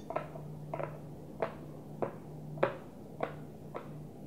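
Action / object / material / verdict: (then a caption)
tap / small plastic container with lid / plastic / none. Long nails tap the closed blue plastic lid of a small, hollow, translucent plastic container. Seven short, hollow clicks land at an uneven, unhurried pace, each dying away almost at once, with a pitch around 550 Hz over a steady low hum.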